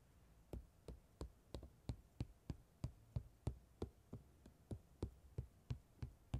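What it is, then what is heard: Glitter fabric scratched with a comb. A black tail comb with fine metal pin teeth is dragged across purple holographic chunky-glitter fabric stretched over a rounded padded surface. About 20 short, dull scratching strokes come in a loose, uneven rhythm, each with a soft low thump and a quick brushy edge. Every stroke dies away almost at once into quiet.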